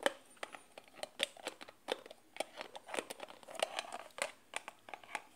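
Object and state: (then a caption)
Glass jar with plastic lid. Fingers and nails tap and scratch a small glass jar, partly covered by a peeling white label, and its black plastic screw lid. The result is a quick, irregular run of sharp, dry clicks and taps with bright, scratchy, crinkly texture in between. There is almost no low end, and each tap dies away almost at once.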